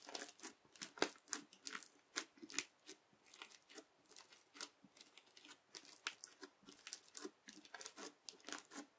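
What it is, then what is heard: Crunchy bead slime. The edge of a yellow plastic knife is pressed repeatedly with a fingertip into flat teal crunchy bead slime. Each press makes a short, quiet, crisp crackling crunch that is bright and thin, with no low end. The crunches stop quickly and follow one another in a steady, irregular series.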